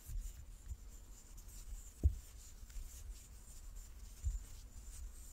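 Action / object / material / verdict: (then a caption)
scrape / large wooden die / wood / none. A large, solid light-wood die with dark pips is held in both hands and turned in the palms while fingertips and nails rub and slide over its faces. The result is a quiet, low, dull rubbing and handling rumble with a faint bright hiss above it. Three soft, short thumps stand out, the sharpest near the middle.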